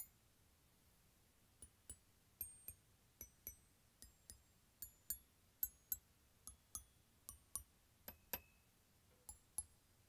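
Fingers tap and scratch across the aluminium bars of an open glockenspiel in a plastic case while a hand sweeps over them. There are 19 quiet, separate, irregular taps, each a bright click with a brief high tinkling ring that fades within a fraction of a second. A faint low hum sits underneath.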